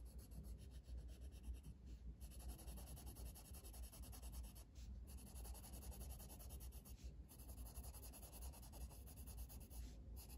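A blue wooden colored pencil, held in the fingers, shades a flat paper coloring book page resting on a table. Quiet, continuous scratchy rubbing strokes run over a steady low hum, with the brighter scratch briefly dropping out every couple of seconds as the strokes pause.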